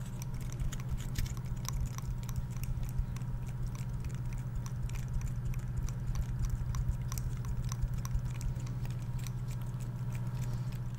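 Fingertips and nails scratch and flick the open woody scales of a dry, brown, solid, hand-sized pine cone held close to the microphone. Quick, irregular dry clicks and bright ticks patter throughout, sitting over a steady low hum.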